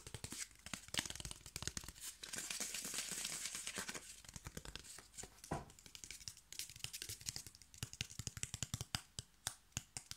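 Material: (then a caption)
Cardboard. Fingertips and nails tap and scratch along the face and fluted edge of a brown corrugated cardboard strip. Quick, dry, bright taps come in rapid bursts, with a longer hissy scraping stretch early on. Each tap dies away almost instantly.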